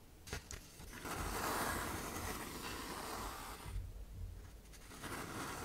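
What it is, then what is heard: Sandpaper sheet being scraped. A hand-sized sheet of tan K120 waterproof sandpaper with a thin paper backing is bent and folded in the hands while long nails scrape across its surface as it flexes. A few quiet crinkles and ticks open into a dense, rough, gritty scraping with a bright hiss, which swells and holds for a couple of seconds. It then thins into softer, lighter scratching and rustling.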